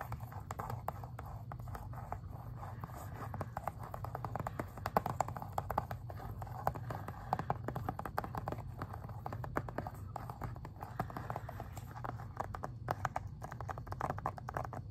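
Fingernails tap and scratch across the front of a plastic Xbox 360 video game case, making a dense run of quick, dry clicks and scrapes with a midrange tone. The sound is fairly quiet and steady over a low hum, and each tap dies away almost instantly.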